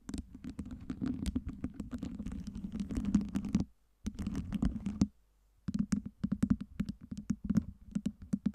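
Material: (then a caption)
Acrylic. Long nails rapidly tap and scratch the surfaces of a lit acrylic LED fake ice cube tower, a stack of small solid acrylic cubes on a round base, while both hands cup it. Dense, crisp clicking and scraping runs over a steady low hum, breaks off twice for a moment, then returns as sparser, sharper taps.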